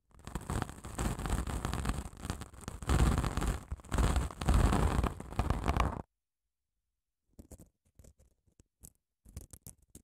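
Long nails scratch along the gritty face of a long grey padded emery nail file, whose grit sits over a foam core. About six seconds of dense, rough, continuous scratching with a heavy low rumble gives way to silence, then a scattering of short, separate scratches.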